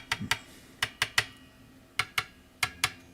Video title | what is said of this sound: Christmas Eve - Last 2025 Live Stream | Hear that short, sharp tap? Sounds the same. It's got the same sort of timbre, if you're taking into account the greater timber mass in the center.